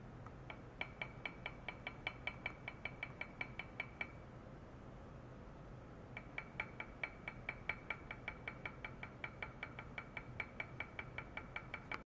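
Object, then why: Stainless steel cup. A small, hollow, empty stainless steel cup with side handles rests on a white mesh pad with wired probe clips on its rim, and a long white rod repeatedly taps its inside. The strikes come as a fast, steady series of short, bright metallic clinks with a clear ringing tone near 2.3 kHz, pausing for about two seconds midway before resuming. Each tap decays quickly over a low background hum.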